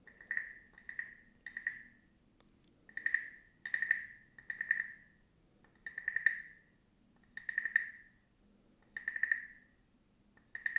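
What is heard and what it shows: A small, hollow, carved wooden frog guiro is held up while a wooden stick scrapes along its ridged back. Each stroke makes a quick, woody, croaking rasp with a clear pitch around 1.8 kHz. The rasps come in short bursts separated by brief pauses, over a quiet, low background.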